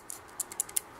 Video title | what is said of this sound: Dovpo GX-200 Review | it does rattle if you shake it